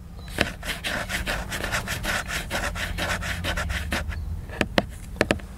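A book's surface is scratched with the fingers, giving a steady run of dry, rhythmic rubbing strokes. Toward the end, a few sharper, brighter clicks stand out against a faint low hum.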